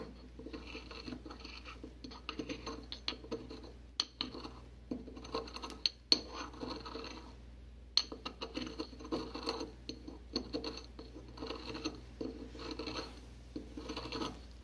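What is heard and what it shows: A porcelain pestle scrapes and grinds a thin layer of white powder along the inner surface of a white porcelain mortar held in a gloved hand. Irregular, gritty scratching strokes carry a bright, glassy edge, with a few sharp porcelain clicks standing out near 4, 6 and 8 seconds. The grinding continues in uneven bursts with brief pauses throughout.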